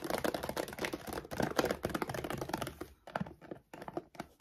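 Long decorated nails and fingertips scratch and tap the front of a large, full 7.5 kg Royal Canin dog food bag made of laminated plastic, lying flat on a wooden table. A fast, irregular stream of crinkly taps and scratches fills the first three seconds. The clip ends with sparser, separated taps between short quiet gaps.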